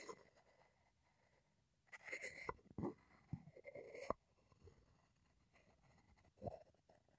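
A wooden pestle is scraped and ground inside a light, hollow, empty wooden mortar held in the hand. Soft, dry scraping and rubbing come in bursts between quiet stretches, with brief dull knocks that die away almost at once. The grinding is low in level, with a mid-pitched woody tone around 600 Hz.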